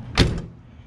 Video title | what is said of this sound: 1978 El Camino Door Panel Refurbish | It sounds a lot better when you shut it. You know, nice and solid